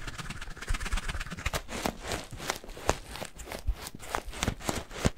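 Fingers squeeze and pinch a yellow latex rubber balloon filled with granular cat litter. A steady run of dry, gritty crunches and sharp little clicks follows, with soft low thumps underneath and bright crackle on top. Each crunch stops almost at once.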